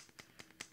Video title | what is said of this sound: HAUL IN RETROSPECT -- Totally Free December 2022 Haul | It is one of those items that you have to shake up. You can hear the thing in there.